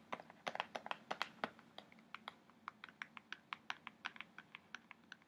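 Fingertips and nails tap and scratch the front face of an upright kraft cardboard box printed with an orca. The sound is a quiet run of about 27 short, dry, bright clicks in an irregular, typing-like rhythm, each dying away almost instantly.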